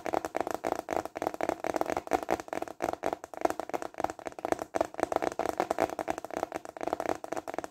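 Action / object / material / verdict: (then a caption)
tap / plastic container lid / plastic / none. Fingertips tap rapidly on a large, flat, clear translucent plastic container lid held upright in both hands. The result is a steady stream of quick, dry, hollow plastic clicks centered in the midrange around 670 Hz, with almost no bass or bright highs. Each tap dies out almost instantly.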